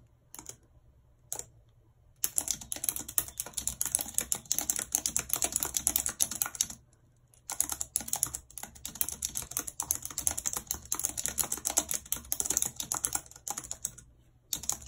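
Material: Plastic.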